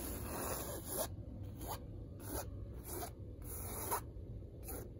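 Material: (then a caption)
Fabric. Long red nails scratch and rub the textured weave of a large, hanging, dark blue woven fabric curtain. Repeated bursts of dry, hissy rasping come and go over a steady low rumble, each stroke fading quickly into near silence.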